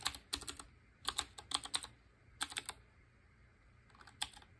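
Fingertips with short painted nails press the keys of a black Qwerkywriter Biohazard collaboration typewriter-style mechanical keyboard with round chrome-ringed keycaps. Crisp, bright clacks come in quick bursts separated by short quiet pauses, each keystroke sharp and dying away almost instantly with very little low end.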